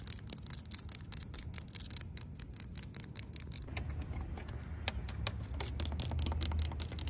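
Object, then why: Asphalt pavement. Long pink acrylic nails scratch and tap on a solid, cracked asphalt pavement, producing a quick, irregular run of sharp, bright clicks and scrapes. A steady low rumble sits underneath throughout and grows slightly louder toward the end.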